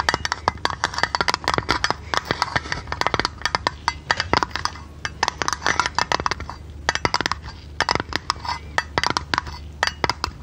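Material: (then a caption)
Tinplate. Long red nails tap rapidly on the thin, hollow, printed blue tinplate lid of a tea canister held in the hand. The result is a quick, irregular run of dry, bright metallic clicks and clinks that die away almost instantly, centred around 950 Hz, over a faint steady low hum.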